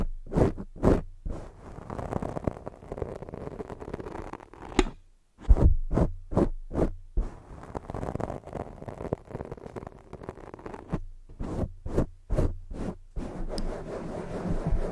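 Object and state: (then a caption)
Foam microphone windscreen being scratched. Long fake nails scratch the sides of a black foam microphone windscreen, alternating between fast and slow strokes. Dense, muffled scratching and rustling with a strong low rumble comes in bursts separated by short silent gaps, with occasional sharper scrapes standing out.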